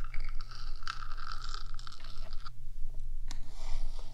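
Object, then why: Metal microphone housing. Long black fingernails on both hands tap and scratch the top of a black hollow metal 3Dio microphone body. Quick clicky taps mix with bright, dry scraping that stops and starts, over a steady low hum throughout.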